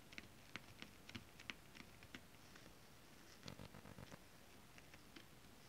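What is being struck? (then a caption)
Holographic scale-print fabric. Long acrylic nails scratch and tap on a flat holographic mermaid scale-print fabric. About eleven quiet, dry, bright clicks are heard, with a soft scratchy rustle between them.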